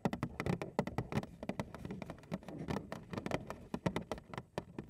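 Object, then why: Cardboard cereal box. A large printed Frosted Flakes cardboard cereal box, hollow and possibly full or empty, is held upright in both hands while long acrylic nails tap and scratch its front panel. Quick, dry clicks and taps come in a dense, uneven stream with a light scratching texture beneath, mostly low and woody with little high-end sparkle. Each tap dies out almost at once.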